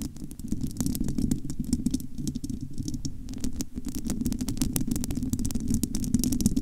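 Long almond-shaped nails scratch and tap across the bare, hollow, domed metal wire-mesh grille of a large studio microphone. A dense, rumbling low scrape runs throughout, with rapid, sharp, bright clicks from the nails striking the mesh. The sound dips briefly near the middle before the scratching and tapping pick back up.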